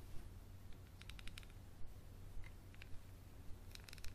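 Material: Glass.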